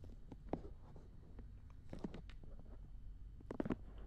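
Fingertips and long nails rub and scratch the soft silicone ears of a black binaural dummy head microphone, giving close, soft muffled scrapes and small taps. Bursts of scratching come near the start, around the two-second mark, and again near the end, over a low, quiet rumbling bed with little high-end content.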